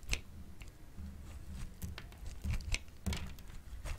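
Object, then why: Bar of soap scraped with a metal grater. A solid, hand-sized yellowish bar of dry soap is held in the hand and scraped repeatedly with the metal blade of a grey-green plastic grater. Curls of soap fall onto the table. Each pass gives a short, dry, crisp scrape with a bright rasp over a low, soft rumble.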